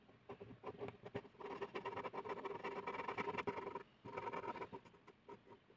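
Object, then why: Ballpoint pen on a paper sheet. The tip of a blue plastic ballpoint pen scribbles rapidly back and forth across a flat white paper sheet resting on a hard surface. The pen makes dense, scratchy strokes with a faint tonal rasp. It runs in bursts, going quiet briefly around the four-second mark before resuming and tapering off.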